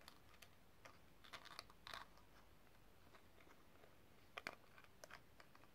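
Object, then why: Small metal cigarette case. A small hollow metal cigarette case with a rhinestone-studded exterior is opened, snapped shut, and tapped with long nails. Quiet, sharp clicks and taps come in scattered bursts over a low background hiss, each tick short and bright with almost no ring.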